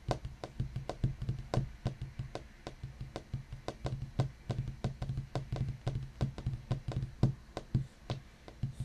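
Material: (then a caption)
Wood. Fingertips of both hands tap and knock across a large, solid black wooden desktop, possibly painted or laminated. The result is a quick, uneven stream of short, dull, low thuds with brief bright clicks on top, each dying away almost at once.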